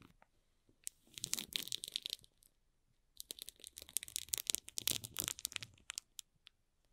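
Fingertips and nails tap and scratch the wrapped side of a small, hollow cardboard box sealed in plastic film, with its barcode side in view. Two bursts of bright, crisp crinkling and clicking come with quick, dry taps and almost no low end. A short pause separates them, and the second, longer burst fades to a few scattered taps.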